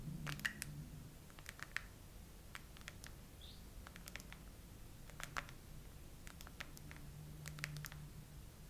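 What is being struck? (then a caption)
Hollow plastic phone case with raised domes. Long acrylic nails on both hands slowly tap and scratch the raised hollow heart domes of a phone's chrome plastic case. Sparse, sharp plastic clicks with bright, instantly fading ticks sit over a steady low hum, with a faint scratch between taps.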